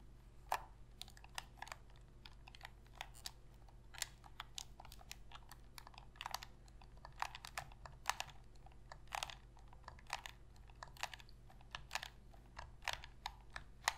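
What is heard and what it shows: Long pink fingernails tap and press the buttons and sticks of a hollow black plastic Sony PS3 controller held in both hands. Quick, crisp plastic clicks and taps come in an irregular, typing-like stream, each dry and short with almost no ring, centred around 900 Hz with bright edges. A low, steady hum sits underneath throughout.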